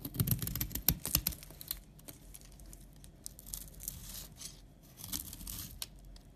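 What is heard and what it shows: A utility knife scrapes fine, powdery shavings from a solid tan bar of soap held in the hand, making dry, crackly scraping and rasping sounds. A dense flurry of sharp scrapes opens the clip, then softer, steadier shaving follows, with another brief burst near the end.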